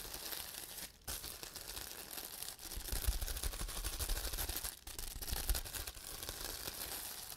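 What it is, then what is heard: Plastic bubble wrap. A large sheet of clear plastic bubble wrap is held close to the microphone while fingertips press, rub and pop its air-filled bubbles. The sheet is also handled and crinkled. The result is a continuous dense crackling and rustling with bright, crisp texture and low rumbling handling noise, broken by brief quiet gaps.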